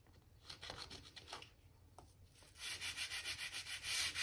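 A stiff gap brush scrubs along the joints between solid oak floorboards that have a damp patch. Soft, uneven scratchy strokes come first, then the brushing turns louder and steady, with a fast rhythmic run of bright, hissing bristle strokes near the end.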